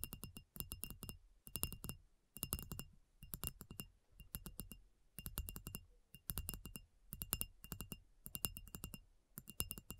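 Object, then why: Marble block. Long nails tap quickly on a solid reddish-brown and grey rectangular marble block. The taps come in short, rapid bursts about once a second, each a dry, bright click with a faint high ring near 2.8 kHz over a soft low thump, fading almost instantly between bursts.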